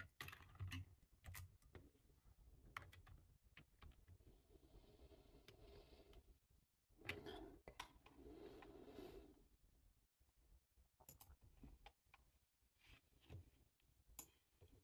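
Bare fingertips with short nails type on a black, low-profile plastic computer keyboard with a hollow body, resting on a table. Quiet, uneven bursts of short clicky taps sound with a hollow low thump under each one and bright, clacking tops, separated by brief pauses.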